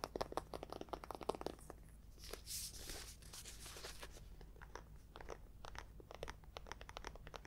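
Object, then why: Paperback book, paper cover. Long acrylic nails tap and scratch the paper cover and spine of a thick, solid orange paperback book, "Endgame." Quick, dry, crunchy taps come in a dense flurry at the start, then give way to a softer, bright scratching rasp. Lighter clicking taps follow to the end.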